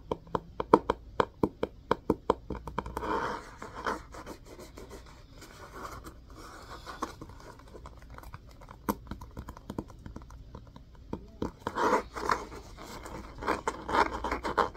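Fingers and nails tap and scratch the top edge of the spine of a solid, cream hardcover book with an orange spine and a cloth-covered board cover. A quick run of sharp, dry taps gives way to a rough scratching burst, then a quieter stretch of soft rubbing. Clusters of taps and scratches return near the end, all in a muffled midrange with very short decay.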